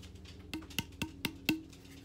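Five evenly spaced taps on the hollow handle of a Fiskars X7 camp hatchet give short, hollow knocks with a low pitch around 310 Hz and a quick decay. The handle is hollow to cut weight and make the hatchet front heavy.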